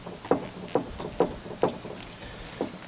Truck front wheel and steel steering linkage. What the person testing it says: I'm able to shake this back and forth and you can hear it clunking. Now this one's quite loose. There's a lot of play in there.